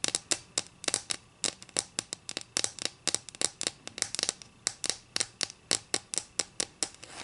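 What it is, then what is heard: Wooden ruler. Long acrylic nails scratch and tap along the edge of a solid wooden ruler resting on a table. About 35 sharp, bright clicks and scrapes come in an uneven rhythm, each dying away almost at once with almost no low end.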